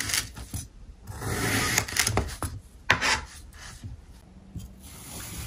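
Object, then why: Block of packed kinetic sand cut with a steel knife. A steel kitchen knife slices a small, solid block of packed pink kinetic sand on a white surface into thin triangular layers. The blade makes gritty, rasping scrapes with sharp crunchy bursts as it cuts through the sand, and the sound settles into a quiet, faint hiss at the end.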